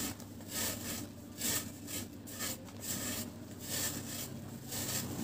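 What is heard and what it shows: A round, flat, solid dry cement cake is held in one hand over a tub of cement powder while its edge is shaved and scraped with the metal blade of a yellow-handled box cutter. The scraping comes in repeated bright, gritty rasping strokes with short pauses between them, and the loudness rises and falls with each pass.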